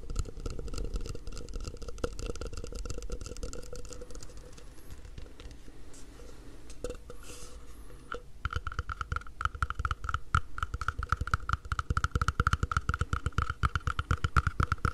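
An empty, hollow, mint-green cup about the size of a drinking glass, apparently matte plastic, is tapped all over its outside with the fingertips of both hands. The result is a fast, uneven patter of soft, dull taps with short, low thuds, over a faint steady tone. The tapping eases off in the middle, then returns louder and crisper for the rest of the clip.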